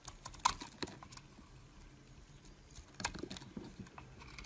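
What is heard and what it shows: A metal utility blade shaves flakes off a solid, rectangular, mint-green bar of soap held in the hand. Quiet, crisp scraping and crunchy little clicks come in brief bright bursts, with the sharpest cuts near the start and again around the three-second mark.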